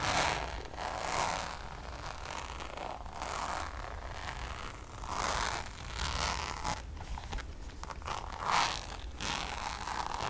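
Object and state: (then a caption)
Coated canvas zip pouch scratched. Long nails scratch the face of a hollow, checkered coated-canvas Louis Vuitton zip pouch in fast, raspy strokes. The bright, zipper-like rasps rise and fall in bursts over a steady low background, with a mid-pitched tone near 800 Hz.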